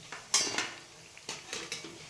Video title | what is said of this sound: हा एक पदार्थ वापरून आजीच्या पद्धतीने बनवा कुरकुरीत व टम्म फुगलेले बटाटा भजी😋 गावरान पद्धतीने 🙏 | कुरकुरीत आवाज येतोय का भज्यांचा कसं वाजते